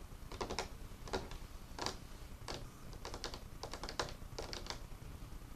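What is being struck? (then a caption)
Wooden table. Fingertips and nails tap and scratch the surface of an old, solid, dark, worn wooden craft table with paint spots. Irregular clusters of short, dry taps and bright scraping clicks rise and fall over a low, steady background hum, each tap dying away almost at once.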